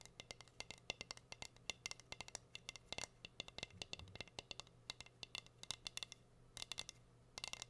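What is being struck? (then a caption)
Wooden heart-shaped cutting board. Long fingernails rapidly tap and scratch a plain, solid, flat wooden heart-shaped cutting board held upright. The result is a fast, irregular run of sharp, bright clicks with almost no ring, mixed with faint scratching over a quiet, steady low hum.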